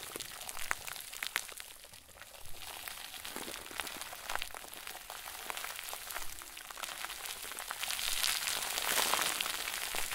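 A round white plastic bag stuffed into a crinkle ball is squeezed and kneaded with both hands. It gives off dense, bright crinkling and crackling with sharp little pops, and it grows louder and fuller near the end.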